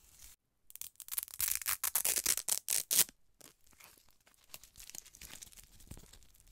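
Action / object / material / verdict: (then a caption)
scrape / plastic gel-filled eye mask / plastic / none. Fingertips and medium-length painted nails press, rub and scratch the surface of a thin, flexible, lilac glittery gel-filled eye mask with a plastic shell, held in both hands. A run of bright, crinkly scratching bursts comes first, then settles into softer, quieter rubbing.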